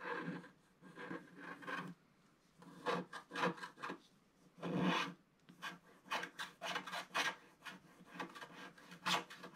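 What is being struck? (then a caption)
Coated scratch-art paper scratched with a thin wooden stick. A thin wooden stick scratches across the black coating of a scratch-art paper sheet in a series of short, dry rasping strokes. The strokes come in uneven bursts separated by brief quiet pauses, with a grainy, bright scraping texture over a soft low body.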